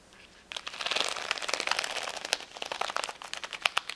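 Long nails tap and scratch the acrylic gems of a flat plastic rhinestone sticker sheet lying on a towel. After half a second of near silence, a dense run of bright, crinkly scratching begins, with sharp, dry clicking taps that stand out more clearly toward the end.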